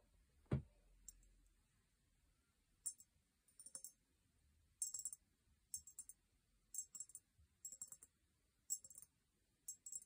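A small, empty, hollow cut-crystal glass vase with a sticker label, held upright on a fluffy blanket, is tapped with long painted nails. After one louder knock near the start, the bright, clicky taps come in quick bursts spread across the clip. Each tap dies away almost at once, with little ring.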